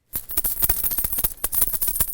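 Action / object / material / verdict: shake / cloth pouch with metal coins / metal / none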